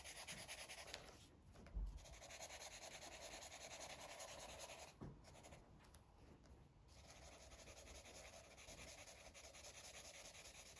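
A green felt-tip Sharpie marker is rubbed back and forth over a thin paper coloring book page lying on a fabric surface, coloring it in while the other hand holds the book. It makes a steady, soft, scratchy rubbing hiss with bright texture and brief pauses and light bumps along the way.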